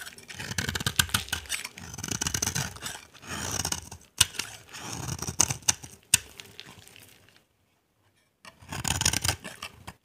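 A utility knife blade scrapes the face of a dry, solid cream-white bar of soap held in the hand, shaving off dry flakes. The sound is a series of bright, crisp scratching passes with a few sharp clicks, broken by short pauses and one near-silent gap before a final pass.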